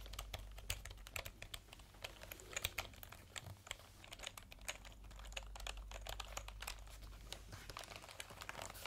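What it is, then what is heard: Plastic computer keyboard being typed on. Fingertips type and tap on the round keycaps of a backlit plastic computer keyboard, held diagonally and then upright. Many quick, dry, bright key clicks clatter irregularly with almost no ring, over a steady low hum.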